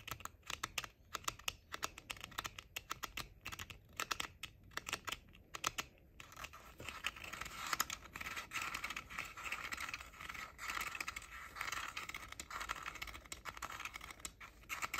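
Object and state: Plastic headphone ear cups.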